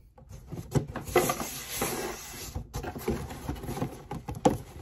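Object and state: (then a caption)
Cardboard shoebox. Long red nails tap and scratch across the lid of a closed, hollow black cardboard Converse shoebox. Quiet, hollow taps sit over a soft, continuous scratching hiss, with a few sharper knocks standing out.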